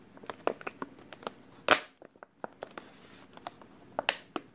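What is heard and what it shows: Fingers squeeze and crinkle a clear, thin plastic water bottle with a label, partly crushed and mostly empty. It gives a series of sharp, bright crackles and pops with little low end, and the loudest crunches come just past the middle and near the end.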